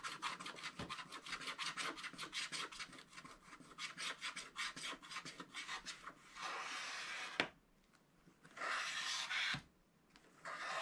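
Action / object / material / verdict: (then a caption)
scrape / wax-coated scratch-art paper scratched with a wooden stylus / waxed paper / none. A wooden stylus scratches the black coating near the right edge of a wax-coated scratch-art paper page, making a quick run of short, bright, raspy strokes. These give way to longer, steady scrapes broken by sharp little ticks and brief silences.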